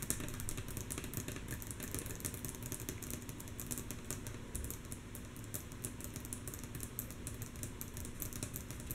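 Long natural fingernails tap rhythmically on a wooden table, mostly softly. A rapid, steady run of light, bright clicks rides over a constant low rumble.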